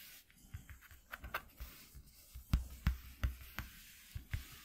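Fingertips and short nails scratch along a flat white corrugated cardboard sheet resting on black cloth. The result is quiet, irregular scratching strokes with soft, low, dull thumps and brief bright scrapes, with the strongest strokes toward the middle and end.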